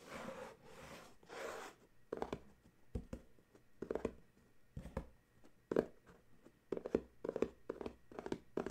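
Fingertips and nails scratch and tap the sides of a small paperboard coffee mug gift box standing on a towel. Two soft, breathy scratching swishes open the clip, followed by a series of quick, dry taps with a hollow, boxy knock in the low-mid range and very little ring.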